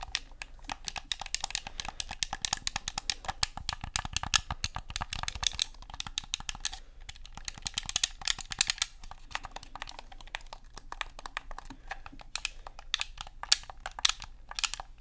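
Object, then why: Plastic game controller. Fingertips click the buttons and tap the shell of a black, hollow plastic Xbox controller. A steady, rapid stream of sharp, dry clicks and light taps follows, bright and short with almost no ring, over a faint low hum.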